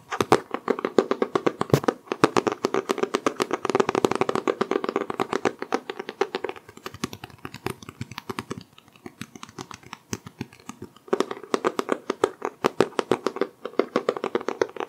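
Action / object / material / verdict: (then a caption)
tap / cloth-covered hardcover book / cardboard, cloth / none. A solid green hardcover book with a cloth-textured cover is held in the hands and tapped and scratched on its cover and spine with fingertips. The result is rapid, dry, hollow taps centered around 390 Hz with very little ring, softening into quieter scratching in the middle before louder tapping returns.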